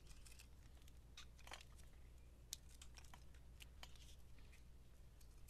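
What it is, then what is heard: Bar of soap being shaved with a knife. A utility knife blade scrapes thin layers off a solid, hand-sized white bar of soap with a black speckled coating, held in the hand. Quiet, bright scraping and crisp crinkling ticks come in short bursts over a steady low hum.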